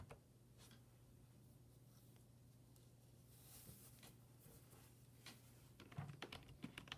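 Fingertips type on a black plastic full-size desktop keyboard resting on a wooden desk, and the hand moves away near the end. Soft, sparse key clicks sit over a steady low hum, with a brighter cluster of sharper taps in the last second.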